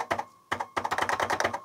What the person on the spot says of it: there's a very distinctive ping when you type on it you can hear like a ping sound that resonates inside the key switches all of them they kind of resonate off each other